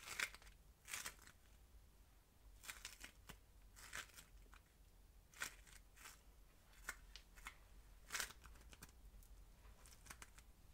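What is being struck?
Ball of polystyrene-bead modelling foam.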